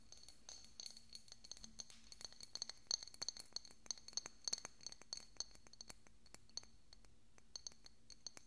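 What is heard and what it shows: Fingernails tap and scratch the surface of a small, hollow, decorative pink glass bottle with a cork stopper, held beside the microphone. Dozens of quick, light, bright clinks and short scratchy ticks come in irregular bursts, each dying away almost instantly, over a faint steady low hum.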